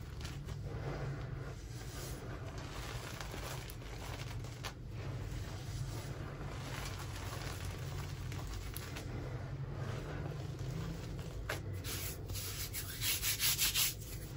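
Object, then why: Crushed gym chalk powder rubbed on marble. Both palms and fingers with red-painted nails rub, press and swirl through a loose pile of fine grey-blue crushed gym chalk powder spread on a marble surface. The result is a steady, soft, crackling grit over a low rumble. Near the end the rubbing turns into brighter, louder bursts of gritty scraping.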